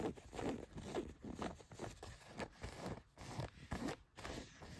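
Long nails scratch the cotton fabric of blue denim jeans, across the leg and a back pocket. Quiet, dry, scratchy strokes repeat at a loose rhythm of about two per second, each a short rasping burst with a soft low rub underneath.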